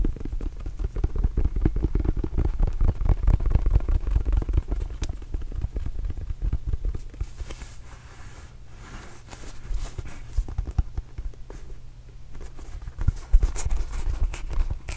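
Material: Rubber.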